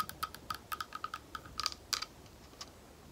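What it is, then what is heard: Clear glass bowl tapped with nails. Long nails tap a small, thick, clear glass bowl that is hollow and empty. The result is a quick, irregular run of bright, sharp clicks, each with a brief high glassy ring. The taps grow sparser and softer toward the end.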